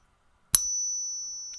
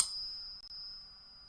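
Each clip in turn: First: 40% silver half dollar, higher-pitched ring. Second: 90% silver half dollar, genuine ring.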